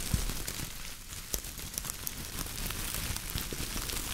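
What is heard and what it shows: A bunch of silver foil-plastic metallic tinsel garland is squeezed and crinkled by fingertips close to the mic. It makes a steady, bright crackling rustle with sharp little snaps scattered through it. A low rumble sits underneath.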